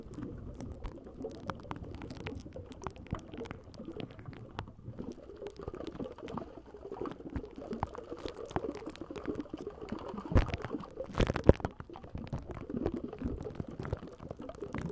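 Fingernails and fingertips of both hands scratch and tap the hollow, rounded wire-mesh metal grille of a large condenser microphone; the long nails are dark-painted, and the grille may still be slightly wet or carry foam residue from shaving cream. The result is a steady, dense, muffled crackle of close scratching, heavy in the lows with little brightness. A few sharper, louder taps stand out near the end.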